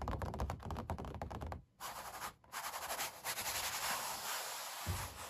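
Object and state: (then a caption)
Oil painting on stretched canvas. Fingertips and long black nails tap and scratch the paint of a puppy oil painting on stretched canvas, the canvas sounding hollow behind it. A quick run of dry taps gives way to scratchy, brushing strokes with brief pauses between.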